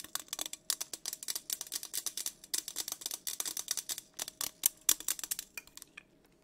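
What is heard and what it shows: Long acrylic nails tap and scratch the side of a hollow teal insulated metal tumbler, likely stainless steel, with a matte coating, a dark lid and a straw, held in one hand. Dozens of rapid, bright, sharp clicks and scrapes, each dying away almost instantly, run over a faint steady mid-pitched tone.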